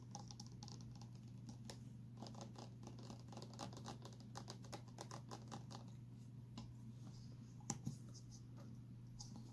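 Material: Plastic.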